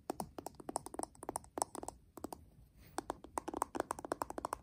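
Fingertips and short nails tap and scratch on a flat, hollow, hand-sized metal tin eyeshadow palette held in the hands; it has a pink printed lid and a gold metal rim. About 28 quick, dry clicks land in uneven bursts, each with a bright midrange tick near 1 kHz that dies almost instantly. A faint soft scratching fills the brief pause in between.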